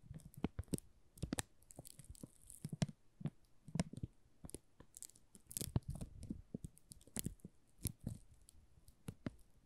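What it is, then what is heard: Plastic film crinkled around a soap bar. Thumbs and fingertips rub and crinkle the loose plastic film wrapped around a solid pink "Rose" soap bar. The result is a quiet, close run of dense crackles and soft crunches, with brief bright snaps over a low, muffled rustle.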